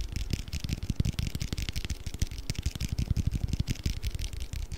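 A small round clear plastic food container with a blue lid, filled with colorful orbeez, is held in both hands and tapped quickly with fingertips and nails. The result is a dense, steady stream of soft, low, hollow thumps with crisp, bright clicks on top, each tap dying away almost at once.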